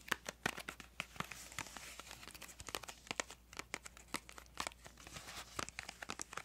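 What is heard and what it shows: Long acrylic nails tap and scratch the surface of a small printed yellow-green cardboard crayon box, likely full of crayons, held in both hands. Rapid, sharp, dry clicks come in irregular bursts over a soft, bright, papery scratching hiss. The sound stays quiet and close throughout, with almost no low end.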